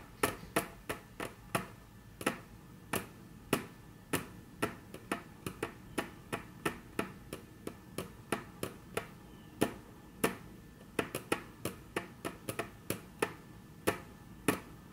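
Very long natural nail tips tap on a flat, solid, dark brown wood-grain tabletop. About 39 sharp, dry clicks come in an uneven rhythm over a quiet background, each bright and broadband with a very quick decay.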